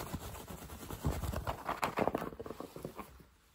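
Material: Fabric.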